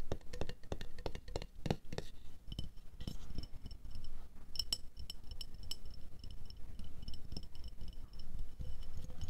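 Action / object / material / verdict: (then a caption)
tap / glass jar tapped with fingernails / glass / none. Long acrylic nails tap and scratch a medium, clear glass jar with a black lid that lies hollow and empty on white fur. Quick, dry taps land in a brisk rhythm, mixed with light scratching. Short, bright glassy clinks sit over a soft, low thud and die away almost at once.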